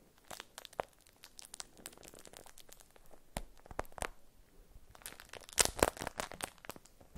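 A beeswax-coated cotton food wrap is unfolded and crinkled between fingers, giving dense, dry crackling with sharp, bright snaps over a quiet background. The crinkling comes in uneven bursts, thinning out briefly around the middle before turning louder and busier toward the end.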